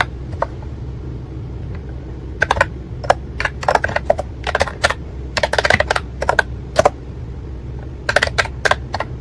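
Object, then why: Plastic keyboard with round keycaps. A white and pink retro-style ACTTO plastic wireless keyboard with round typewriter-like keycaps and a hollow plastic body rests on a desk while fingertips type on the keys. Short, bright clicky keystrokes come in irregular bursts over a low steady hum, with quiet pauses between the runs.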